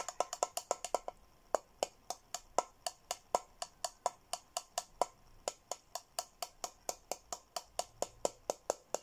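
Fingertips and nails tap the rim and inside of a hollow, handheld teal glossy plastic Hello Kitty tumbler. About forty short, dry clicks come with a hollow tone near 700 Hz and a bright top, quickly at first and then at a steadier pace. Each tap dies away almost at once.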